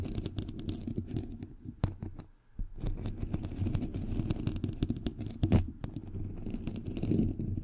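Fingernails from both hands rapidly tap a bare, hollow microphone head with a white perforated metal mesh grille. The taps merge into a dense, low, thumping rumble with sharp clicks scattered on top. There is a brief quiet dip around the middle before the tapping picks up again and swells toward the end.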